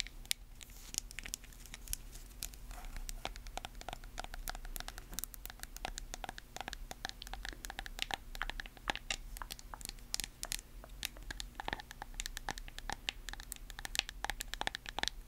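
Long nails rapidly tap and scratch the sides and lid of a small, lidded white plastic cosmetic jar with a yellow label. The sound is a dense stream of crisp, bright clicks and scratchy rasps with almost no ring, over a faint, steady low hum.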